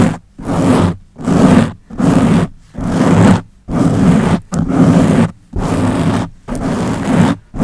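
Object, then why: Foam microphone windscreen. Long nails scratch a round black foam windscreen covering the head of a Blue Yeti microphone with fast hand movements. The result is a run of loud, dense, low rumbling scrape bursts, each lasting under a second, separated by brief silent gaps.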